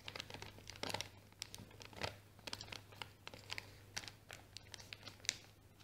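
Long painted nails scratch a small, empty, hollow brown kraft paper bag while fingers crinkle it at the folded top. The result is a rapid, uneven run of bright, dry crackles and scratchy rustles that stop almost instantly, over a faint steady low hum.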